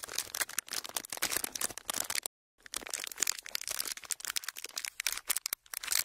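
Empty clear ridged plastic packaging sheet pressed flat and crinkled with fingers, giving dense, bright crackling and crinkling in rapid bursts. The noise runs almost continuously, with a short silent gap near the middle and another brief pause toward the end.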